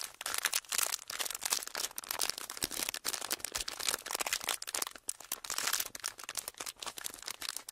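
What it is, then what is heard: Clear ridged plastic packaging sheet being crinkled. A small clear ridged plastic packaging sheet is gripped in both hands and crinkled with the fingertips and thumbs. The result is a dense, continuous stream of sharp, bright crackles and crinkles with almost no low end, rising and falling in short bursts throughout.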